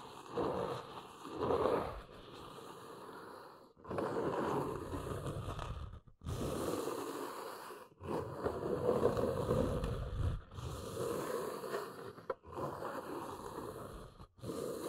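Long nails scratch and tap along the edges of a large, hollow brown corrugated cardboard box. Dense, papery rasping with a hollow mid-range body comes in sustained bursts, broken by brief silent pauses.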